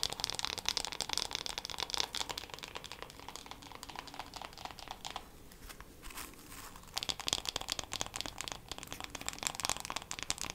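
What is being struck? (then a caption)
Wooden hairbrush back and handle. Long black acrylic nails tap quickly on the wooden back and handle of a solid, light, hand-sized wooden hairbrush with bristles. The rapid, crisp clicks are bright and dry with almost no ring and a tone near 3.4 kHz. They run loud at first, soften through the middle, then return loud toward the end.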